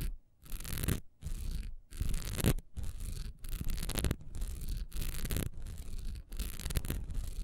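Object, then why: Textured wax pillar candle. Long nails fast-scratch the top edge of a solid, honeycomb-textured wax pillar candle lying on its side. The result is a series of rough, dry scratching bursts with a bright hiss and a low rumbling undertone, separated by brief pauses.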